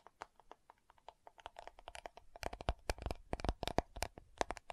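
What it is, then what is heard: Plastic powder jar. Long nails tap and scratch the lid and rim of a round, dark purple plastic loose powder compact jar. Quiet, dry clicks with a faint hollow tone near 700 Hz come in uneven bursts, mixed with soft scratchy rasps. The tapping grows denser and a bit louder in the second half.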